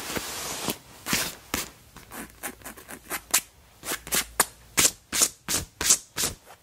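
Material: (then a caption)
Leather. Fingertips and long black nails rub and scratch the front panel of a black quilted leather jacket, likely faux leather, squeezing it. An irregular series of short, bright, crisp scratching and crinkling bursts starts with a longer rub, then separate quick strokes follow with very little low end.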